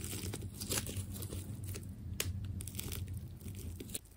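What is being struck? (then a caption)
Ball of layered plastic tape. A small blade scrapes and cuts through the layers of a carved white and purple tape ball made of solid, layered plastic tape. Crisp tearing and crinkling bursts with bright, crackly edges come in quick, uneven strokes over a steady low hum.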